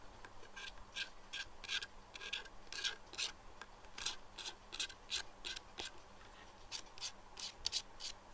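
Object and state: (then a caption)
Plastic pinhole glasses. Fingernails scratch and tap the black perforated lenses of plastic pinhole glasses resting on a desk. Quick, dry, rasping strokes come in a steady series of short bursts, bright and hissy, with little low end and no ring after each stroke.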